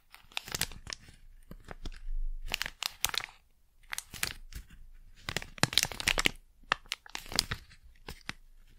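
A small, flat, sealed plastic Blu Tack pouch is squeezed, crinkled and rubbed with fingertips and long nails. Bursts of bright, crackling crinkles come in irregular clusters with brief quiet gaps, some sharp snaps standing out.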